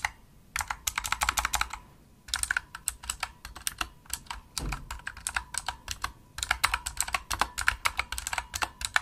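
Rapid typing with the fingertips and nails of both hands on a pink full-size Razer opto-mechanical keyboard with plastic keycaps, a solid desktop device. Bursts of sharp, bright plastic clicks and clacks come in quick runs, with brief pauses between them. Each keystroke dies away almost instantly.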